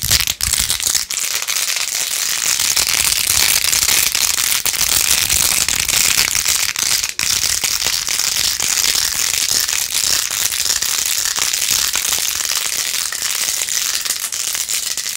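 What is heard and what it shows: Long acrylic nails scratch quickly across a handheld plastic phone case with rose-gold edges, covered in rows of glued-on pink plastic pearl beads. The result is a dense, steady, bright crackling rattle with almost no low end, broken only by a few brief dips in level.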